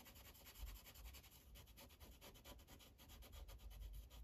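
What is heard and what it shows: A light-blue Sharpie felt tip is rubbed across a thin white coloring page resting on a plastic clipboard in quick back-and-forth coloring strokes. The result is a quiet, steady run of soft, scratchy strokes with a bright, airy hiss over a low thud from the clipboard.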